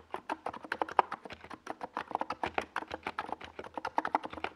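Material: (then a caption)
Plastic. A NiZ Plum Atom 68, a compact 68-key mechanical keyboard with a white plastic case and purple and yellow Domikey Gas Attack SA plastic keycaps, sits on a desk pad while the fingertips of both hands type fast across the keys. About 33 quick, separate clacks sound over 4.6 seconds, each a dry, hollow plastic tap centered near 965 Hz that dies away almost at once, with a little bright click on top and almost no low end.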